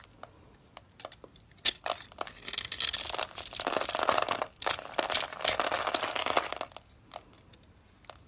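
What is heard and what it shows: A utility knife blade scrapes small cubes off a solid, dusty, palm-sized pink dry soap bar held in the hand, cutting along scored lines. Sharp, bright crunches and crackles come in quick bursts, with two longer stretches of dense scraping between quieter gaps.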